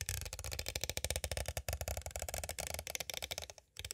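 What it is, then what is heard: Clear plastic cassette case. A small, hollow, clear plastic cassette tape case is tapped on its sides with two green plastic stick tools. The result is a rapid, continuous run of short, dry, clicky taps, each with a low hollow knock and a bright plastic edge and almost no ring. A brief quiet gap comes near the end before the tapping resumes.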